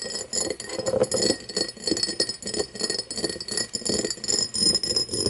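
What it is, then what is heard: Cut crystal glass tumbler tapped and scratched with nails. Long nails tap and scratch an empty cut-crystal glass tumbler turned with its mouth outward, giving a quick, irregular run of short, bright clinks mixed with scratchy rasping. Each tap dies away almost at once, with a low ring near 500 Hz beneath a bright, glassy shimmer.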